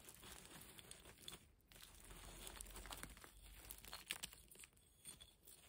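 Fingertips and long nails rummage and scratch through a dry pile of grey broken concrete and plaster rubble, shifting the loose solid chunks. The result is a quiet, bright, gritty crunching and crinkling, with short scrapes and clicks that come and go, and a brief lull partway through.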